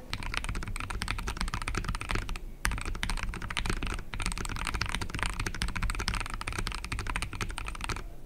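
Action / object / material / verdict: tap / mechanical keyboard with plastic case and plastic keycaps / plastic / none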